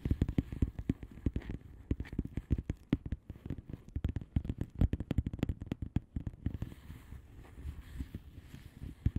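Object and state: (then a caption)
Plastic bubble wrap envelope. Long nails on both hands tap quickly across a flat blue bubble wrap envelope. The result is a rapid, uneven stream of short, dry plastic clicks with a dull low thud and almost no ring, over a faint soft rustle.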